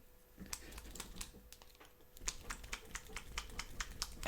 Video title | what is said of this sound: Cthulhu Death May Die - How to paint Shoggoth, Cthonian and Hunting Horrors (Live Stream) | I can hear and feel that it's gonna take me a bit longer I can hear them sloshing around at least